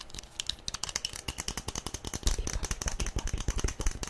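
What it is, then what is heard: Plastic toy figure tapped with fingernails. A small hollow yellow plastic SpongeBob figurine, held in both hands, is tapped fast with long nails. About 28 quick, dry clicks come in a rapid, uneven stream, each with a bright tick over a hollow low thump. The taps grow slightly louder in the second half.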